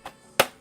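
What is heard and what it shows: Two knocks on the plastic casing of a small, heavy Xbox Series S game console: a faint tap, then a louder, sharp knock with a brief, hollow-sounding mid-range ring that dies away quickly. The console sounds hollow despite its weight, which is normal for it.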